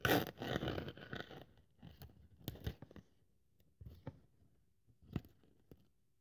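A thin white polyethylene foam sheet, held by long-nailed fingers, is cut into strips with a craft scalpel blade. A dense burst of crinkly, scratchy crunching opens the clip, then thins into scattered sharp crackles and soft ticks separated by near-silence.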